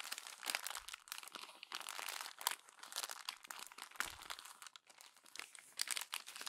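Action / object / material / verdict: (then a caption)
scrape / glossy paper magazine pages / paper / none. A fist crumples the thin pages of a glossy paper magazine while fingers with long nails press them. Dense, bright crinkling and crunching come in quick, overlapping bursts with no low end and almost no ring.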